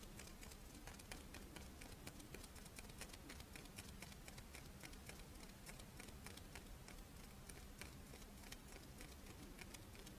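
A Doraemon-shaped, chocolate-filled rice wafer monaka is held in the hands while long nails scratch and tap its face and then the edge of the crisp wafer. Quiet, dense, dry clicks and scratchy taps form a steady, bright crackle over a faint low hum that continues throughout.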